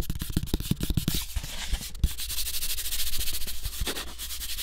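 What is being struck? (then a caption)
Thin cardboard sheet. Fingertips and nails rub and scratch quickly across the surface of a thin, flat brown cardboard sheet cut into the shape of a floppy disk. The first second has a fast run of dull, low thumps. Then it settles into a dense, steady, bright scratchy rasp with occasional soft knocks.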